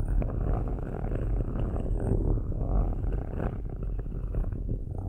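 Metal stick tips scratch slowly in circles over the metal mesh grilles of two black microphones. The result is a steady, dense, low rumbling scrape with a purr-like grainy texture and little high-end content.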